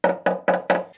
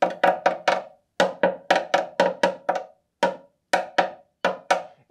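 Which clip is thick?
The first.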